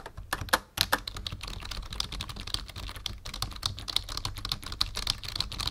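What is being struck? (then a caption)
Plastic computer keyboard. Fingertips of both hands type steadily on a black full-size plastic membrane keyboard with a numpad, resting on a wooden desk. The result is a rapid, continuous stream of short, dry plastic key taps with bright clicky tops and very little ring. A few louder strikes stand out near the start.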